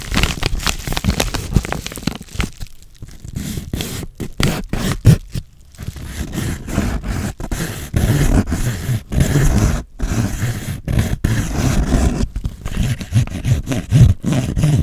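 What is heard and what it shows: Fingertips with painted nails crinkle and rub a medium yellow kraft-paper padded mailer with a shipping label, flexible and hollow with contents inside. The result is a dense run of scraping, crinkling rustles with short dry crackles, weighted toward a soft, low papery body, with brief pauses between bursts.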